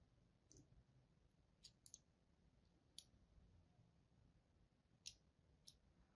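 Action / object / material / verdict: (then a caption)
scrape / bar of soap scored with a thin blade tip / soap / none. A thin blade tip scores crosshatch lines into the surface of a solid pink-and-white striped bar of soap held in hand. Seven short, bright, crisp clicks come at irregular intervals, each dying away almost at once over a quiet low rumble.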